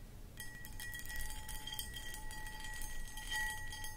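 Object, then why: Cut crystal pedestal bowl scratched and tapped with acrylic nails. Long acrylic nails scratch and tap across the cut pattern of a medium, hollow, empty cut crystal glass footed pedestal bowl. Bright scratchy clicks and taps sit over steady ringing glass tones that hold through the clip, above a low background rumble.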